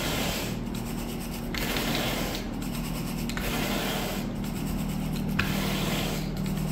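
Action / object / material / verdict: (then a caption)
scrape / synthetic carpet pile under a bristle rake / synthetic fibre / none. A blue bristle carpet rake on a wooden handle is dragged repeatedly through the soft pile of speckled brown synthetic wall-to-wall carpet. Steady, brushing strokes rub and scrape over a constant low hum. The strokes blend into a continuous, even texture.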